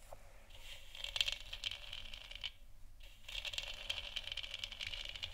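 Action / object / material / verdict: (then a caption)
tap / hollow plastic moon lamp sphere / plastic / none. Long nails tap the sides of a large, hollow, 3D-printed plastic moon lamp sphere that is lit white. The result is a quick run of dry, bright clicks and light scratchy ticks. A brief quiet gap falls in the middle before the tapping resumes.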